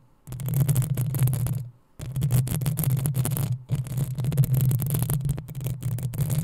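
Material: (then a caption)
Metal mesh. Long acrylic nails on both hands scratch the hollow, rounded metal mesh grille of a black USB condenser microphone. The result is dense, rapid scratching with a heavy low rumble and a crisp, bright rasp on top, heard in three bursts separated by brief silences.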